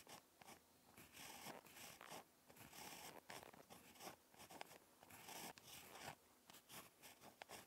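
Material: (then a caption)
Paper. A ballpoint pen tip scratches across a lined notebook paper page during handwriting. Quiet, dry, bright scratchy strokes come in irregular short bursts with brief pauses between them and almost no low end.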